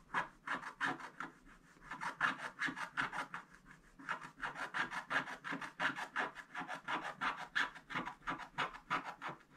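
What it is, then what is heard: Scratch-art paper being scratched. A wooden stick scratches the black coating off a gold scratch-art paper page in rapid back-and-forth strokes. It makes a steady series of dry, raspy scrapes centred in the midrange with a bright hiss, broken by two brief pauses. The strokes come at roughly three per second.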